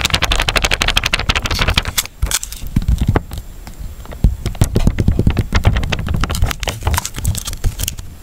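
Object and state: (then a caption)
Sealed plastic water cup, full. Fingertips and nails grip, scratch and tap the ridged walls and rim of a small, clear, full, sealed plastic water cup. Quick dry crackly scratches and clicky taps come in dense bursts, with soft, low, hollow thumps from the water inside between them.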